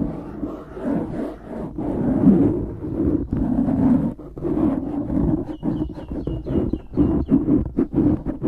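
Fingertips scratch and squeeze a black foam windscreen on a microphone, making a dense, muffled rustling and crackling with a thick low-mid body. The scratching comes in continuous swells broken by short quiet gaps, and faint chirping tones appear in the upper range toward the end.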